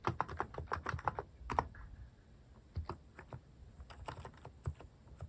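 Fingertips type on a cream mechanical keyboard fitted with sculpted plastic cat and paw keycaps. Short, crisp clacks with a soft low thump land in a quick burst, pause briefly, then continue at a looser pace, each tap dying away almost instantly.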